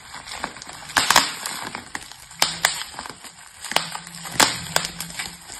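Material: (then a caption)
Plastic. Clear plastic bubble wrap, its hollow air-filled bubbles wrapped over a plastic box lying flat on a table, is pressed and pinched by both hands with fingertips and yellow painted nails. Sharp, bright pops and crackly snaps sound at irregular intervals over quieter rustling of the plastic. The bubbles burst one after another.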